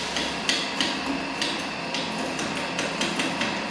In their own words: como verán se escucha el sonido metálico que comprueba que estamos en el clavo